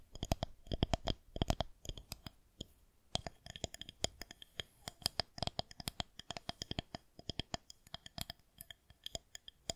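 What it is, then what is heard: Plastic rolling pin. Long nails scratch and tap along a solid white plastic rolling pin held horizontally. Dozens of quick, dry clicking taps come in uneven bursts, mixed with soft scratching, and each tap dies away almost instantly with a bright edge over a low thud.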